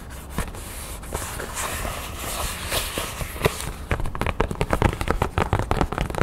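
A thin red craft foam crown cutout is held up in both hands while nails and fingertips rub and scratch across the foam. For the first four seconds there is a steady, hissy scratching with a few soft ticks. It then turns into a fast, uneven run of sharp, dry clicks and scratches with very little ring.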